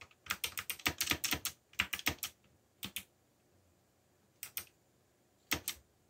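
Fingertips type on the plastic keycaps of a backlit black plastic mechanical keyboard, producing 18 sharp, bright clicks with very short decay and almost no low end. A quick run of keystrokes in the first two and a half seconds is followed by sparser pairs of taps with pauses between them.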